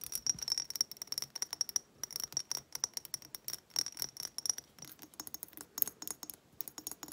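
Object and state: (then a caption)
Glass reed diffuser bottle. Long nails rapidly tap and scratch the bumpy surface of a small hobnail-textured glass reed diffuser bottle held in the hands, with wooden reeds and some liquid inside. The result is a dense run of quick, bright, dry clicks and scrapes with no low end and almost no ring, over a faint high glassy tone.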